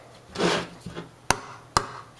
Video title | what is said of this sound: 1929 Victor R 32- Part 2- Output Transformer & Filter Condenser Can | it sounds pretty hollow ... you hear that ... that's hollow